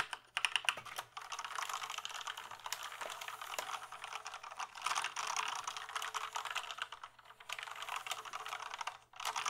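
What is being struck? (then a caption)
Plastic computer keyboard. Fingertips type rapidly on a full-size plastic gaming keyboard with a small display, held up off any surface. The keystrokes give a dense, bright, plastic clatter of short, dry clicks, with brief pauses around one, five, seven and nine seconds before the typing resumes.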